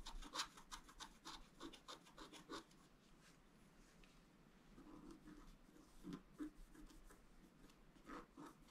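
A wooden stylus scratches a tree ornament into a flat scratch art paper card, making quick, dry, bright scraping strokes. The strokes come rapidly at first, fade to a faint rasp in the middle, then return as a few more scattered scratches.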